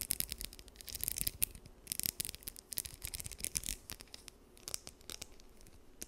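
Long nails strum and scratch across the teeth of a small, solid blue plastic comb held close to the mic. The result is quiet, bright, crackly bursts of scratching in quick, uneven runs, with a faint low rumble underneath.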